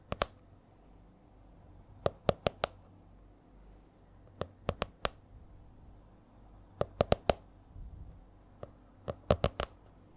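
A purple A4-size hardcover spiral notebook with a stiff cover is held upright and tapped on the cover with long nails. Nineteen short, crisp clicks with bright tops and a hollow mid-range body fall in small clusters of two to five, with quiet, low, faint rustling between them. Each tap dies away almost instantly.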